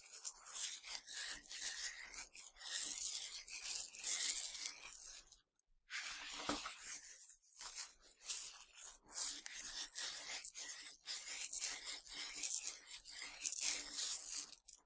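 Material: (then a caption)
Sugar candy. Hands scoop tiny hard Nerds sugar candies and pour them in a stream back onto the candy pile. A bright, dense rattling patter like rasping sand rises and falls in waves, with a brief silent pause just before the midpoint.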